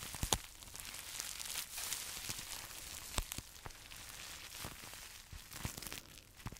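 A small, flexible pink plastic bubble wrap pouch, hollow and empty, is held in both hands and squeezed and crinkled with fingertips and short nails close to the microphone. A steady, bright crinkling hiss runs throughout, broken by sharp, dry clicks and pops that stop almost instantly.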